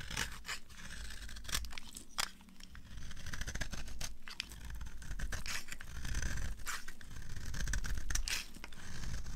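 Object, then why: Bar of soap scraped with a knife blade. A utility knife blade carves and scrapes a solid, rectangular, dry green bar of soap held in the hand, curling shavings off it. The result is a steady run of quick, dry, crisp scraping strokes, with bright rasping edges over a low, dull rumble.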